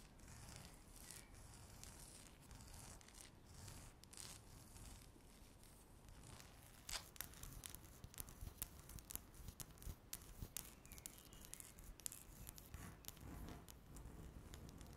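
Long natural nails scratch a flat, solid speckled laminate tabletop. A steady, dry scratching rustle fills the first half, then gives way to sharper, bright clicks and scrapes over a low rumble. Each stroke stops dead with no ring.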